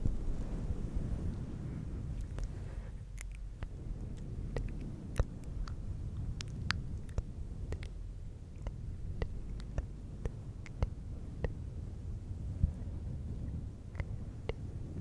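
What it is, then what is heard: Faux fur microphone windscreen being rubbed. Fingertips of both hands rub and scratch a fluffy synthetic fur windscreen on a silver microphone. The result is a steady, muffled low rumble of brushing, scattered with many short, sharp, bright crackles and clicks.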